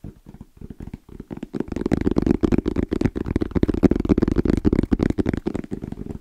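Fingertips tap rapidly and rhythmically on the shell of a small, rigid, hollow black hard-shell EVA case with an orange zipper, held close to the mic. The taps are short, dull, hollow knocks with a low-mid body and almost no ring. They start soft and sparse, then grow louder and denser after the first couple of seconds.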